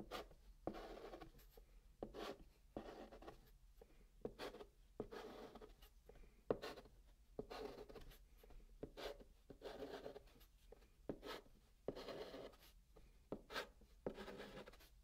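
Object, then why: Chalk on a cardboard box top. A hand draws blue chalk lines and dots on the flat top of a brown kraft cardboard box. Soft, dry scratching strokes alternate with sharp, brief taps from the dots. The sound is quiet and papery, centered in the midrange with thin high edges.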